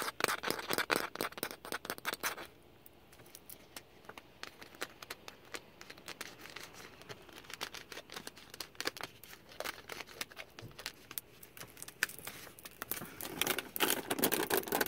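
A clear plastic water bottle, about half a litre, hollow and holding water, is held in one hand while the fingertips squeeze and crinkle its thin walls and fiddle near the cap. Dense, bright crackling clicks come in loud bursts for the first two seconds, thin to sparser, quieter crinkles through the middle, then build again into heavy crackling at the end.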